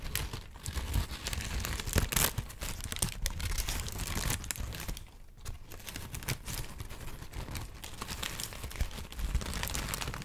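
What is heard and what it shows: A thin, white, wrinkled sheet of paper is held and crinkled with the fingers for about ten seconds. It makes a dense, continuous crackle of crisp rustles and brief, bright crunches over a soft low rumble. The rustling swells and dips, then quiets briefly around the middle.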